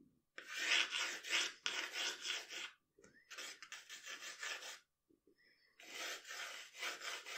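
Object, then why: Wooden pencil on a sheet of drawing paper. A wooden pencil draws long, scratchy strokes across a flat sheet of drawing paper lying on a table. The result is bright, raspy scraping in bursts of strokes, with brief quiet pauses between them.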